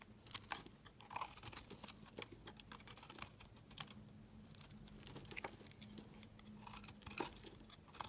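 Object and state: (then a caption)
Soap bar being shaved with a blade. A utility knife blade scrapes and shaves a solid, pale yellow, curved, hand-sized bar of soap. Quiet, dense, crisp scratching and crunching ticks come in rapid, irregular bursts, with bright highs over a faint steady low hum.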